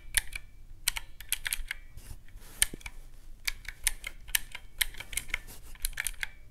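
Several fingertips press the round black keycaps of a teal plastic mechanical-key calculator resting on a white cloth, tapping in fast clicking runs. Each press is a short, sharp, bright click that dies away almost instantly, over a faint low rumble.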